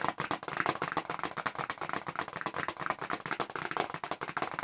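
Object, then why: Small paperboard box tapped with long fingernails. Long nails tap rapidly across the back panel of a small, hollow pink paperboard press-on nail box held upright in both hands. The result is a fast, dense patter of short, dry clicks with almost no ring. The tone is papery and mid-range, with little low end.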